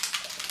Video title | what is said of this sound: Beauty Products I've Been Loving | You hear that? So that's like a little ball in there.